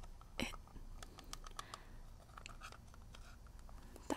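Fingernails tap and scratch the printed lid of a small, hollow, shield-shaped metal mint tin held in one hand. Quick, light clicks with a faint metallic ring are mixed with soft scraping over a quiet low background hum. Two sharper, louder taps stand out near the start and at the end.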